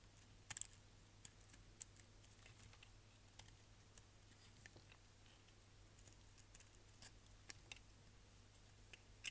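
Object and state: Bar soap scraped with a blade.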